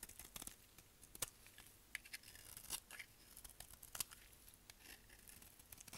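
A solid, dry brown bar of soap is held in the hand and shaved with a utility knife blade. Quiet, crisp scraping and crackly shaving sounds repeat in quick bursts with a few sharper clicks. Most of the energy is high and bright, with little low end.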